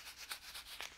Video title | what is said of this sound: Dot Mold Cleaner vs MMR | shake shake shake it's just it's a powder